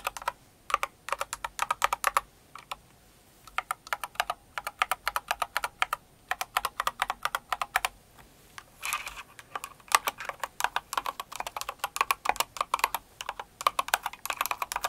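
Long acrylic nails type on a Cinnamoroll kawaii mechanical keyboard with plastic keycaps, producing dozens of dry, short clicks centred near 1.2 kHz with bright tips. The keystrokes come in rapid bursts separated by brief pauses, and each click dies away almost instantly.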